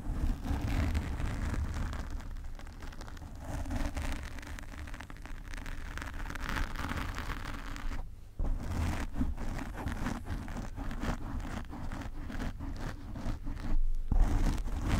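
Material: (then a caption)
Foam. Long nails on both hands scratch the black foam cover of a desk microphone. This produces a dense, continuous rustling and scraping that is heavy in low rumble, with faint crackly texture above it. There are brief near-silent gaps around 8 and 14 seconds.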